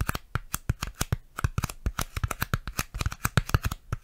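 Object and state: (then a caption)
Styrofoam tapping. A piece of styrofoam is tapped and handled close to a microphone, giving a quick, uneven run of about 25 short, dry taps over four seconds. Each tap has a dull low thump with a light crisp click on top and dies away almost at once.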